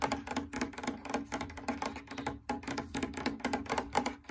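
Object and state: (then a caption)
Fabric drum lampshade. Rapid, uneven tapping with a long nail on the lower edge of a large, lit, hollow cylindrical fabric drum lampshade. The taps are quick and crisp, with a hollow midrange tone and bright ticking edges, over a faint steady low tone. Each tap dies away almost at once.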